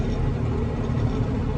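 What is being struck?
Nothing is struck.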